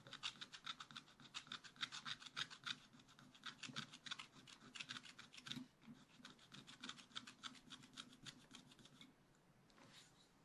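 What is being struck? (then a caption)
Scratch-art paper scraped with a wooden stylus. A thin wooden stylus scratches the black coating off a small parrot area on a scratch-art paper page in a spiral-bound book, which is held flat with one hand. Rapid, short, dry scratching strokes come at about three or four per second in an uneven rhythm, with a bright, hissy tone centered near 3.7 kHz. The strokes thin out and grow fainter toward the end, with a final soft brush.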